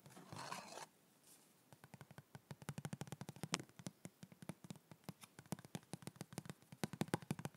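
A hollow white printed cardboard yoga block box is held up and tapped quickly with the fingertips, like typing. A brief broad rustling scrape opens the clip, then about 31 short, dry, hollow taps follow in a fast, uneven patter with no ring.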